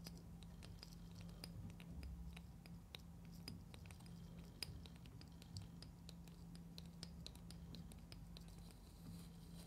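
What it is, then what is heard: Plastic toy container scratched and tapped. Long painted nails scratch and tap along a small hollow orange plastic carrot-shaped toy container with a green top and a visible seam, held in both hands. Quick, bright clicks and dry scratching scatter across the clip over a steady low hum.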